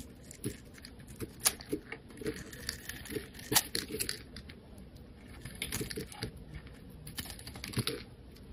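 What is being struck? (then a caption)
Bar soap shaved with a metal blade. A solid, hand-sized rectangular white bar of soap, held in one hand, is shaved and scraped with a metal utility-knife blade so that curls of soap peel off. A quiet series of short, crisp scraping and crunching strokes is heard, bright and papery with a soft low thud under some of them and a very brief decay.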